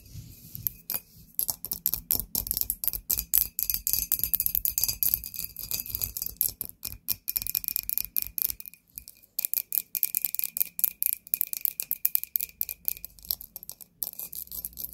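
Long nails tap quickly and unevenly on an embossed clear glass bottle with a cork stopper and white contents inside. The hits come as many short, bright clicks with a faint high glassy ring that dies away almost at once, with a few brief pauses between runs.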